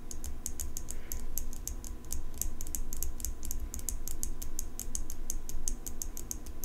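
Long pink nails rapidly tap and scratch the steel blade of an open folding pocket knife with an engraved metal handle. The result is a quick stream of sharp, bright clicks with short scraping sounds over a steady low hum.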